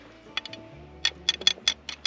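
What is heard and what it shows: A digging tool taps against buried fire agate in a clay pocket, giving nine short, bright, glassy clicks with a high ringing tone around 3.4 kHz and almost no low end. Each tap dies away almost instantly. The sound is almost like tapping on glass and is distinct from the surrounding clay, which identifies the stone as agate by sound alone.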